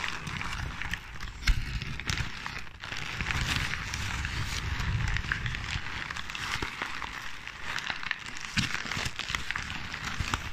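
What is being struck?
Ball of crumpled paper.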